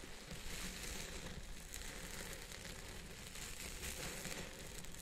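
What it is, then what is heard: Synthetic fiber wig. Fingertips and nails scratch and rub the fibers on top of a purple synthetic fiber wig set on a head form. The result is a steady, dense crinkling and scratching texture with a bright hiss over a soft low rumble, holding at an even level throughout.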